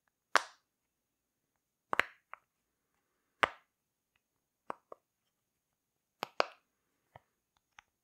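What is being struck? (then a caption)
Silicone pop-it fidget toy. A rainbow heart-shaped silicone pop-it fidget toy is held in both hands while its bubbles are pushed through from behind with the fingers. It makes a series of irregularly spaced, short, dry plopping pops, some loud and some softer. Each pop has a mid-pitched, bright snap and dies away almost instantly.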